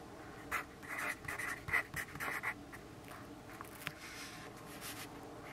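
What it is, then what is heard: Pencil writing on a paper notepad. A yellow graphite pencil writes on a lined paper notepad resting on a wooden desk, scratching lightly against the paper. About nine short, bright, scratchy strokes come in an uneven rhythm during the first half of the clip. They are followed by fainter scratches and one sharp tick over a quiet background hiss.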